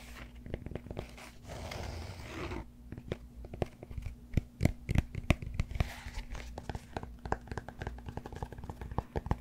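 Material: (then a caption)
Cork. Fingertips and nails tap and scratch the flat cork face of a solid cork yoga block held upright. A stretch of dry, rasping scratching gives way to many quick, dull, muffled taps with no ring, some louder than others, over a steady low hum.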